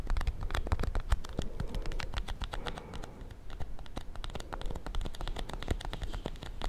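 A small solid bar of soap in a white paper wrapper is held in the hands close to the mic while fingernails tap and scratch quickly across the paper. Crisp, rapid clicks and dry scratching fill the clip over a soft, low thumping body.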